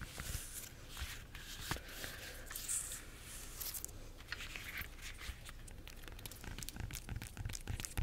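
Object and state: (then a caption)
Bunch of bananas, peel scratched and tapped. Long nails scratch and tap the peel of a bunch of ripe bananas. Soft, dry scraping and crinkling rustle runs throughout, with short, sharp taps that die away almost instantly and a low background rumble underneath.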